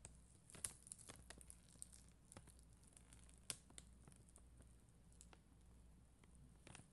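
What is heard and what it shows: A spoolie brush scratches across a red and clear acrylic rhinestone sticker sheet, possibly inside a plastic sleeve. Soft, quiet scratchy crinkling runs throughout, punctuated by short, sharp clicks and ticks with bright, crisp tops over a steady low hum.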